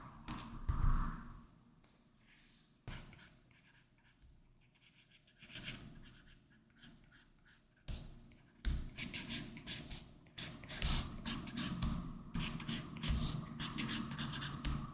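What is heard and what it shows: A plastic Apple Pencil tip sketches line strokes across the glass screen of a large, flat iPad Pro fitted with a matte Paperlike plastic film. Soft, scratchy strokes come in scattered bursts with quiet gaps at first, then grow into a denser run of quick, bright scratching toward the end.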